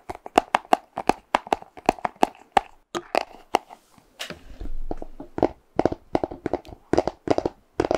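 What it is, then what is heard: Cardboard box, hollow. A small, hollow, purple printed cardboard box is held close to the mic and tapped with fingernails. There are 32 quick, dry taps with a hollow mid-pitched knock, and a brief, softer rubbing swell partway through.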